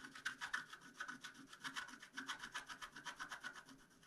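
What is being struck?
Black-coated scratch-art card scraped with a wooden stylus.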